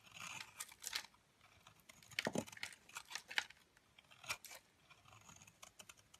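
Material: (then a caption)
Soap. A metal blade scrapes crumbly flakes off the edge of a hand-sized, green oval solid Lux soap bar. The sound is a quiet, dry, bright scraping and crunching that comes in short, crisp bursts, with almost no low end and no ring between strokes.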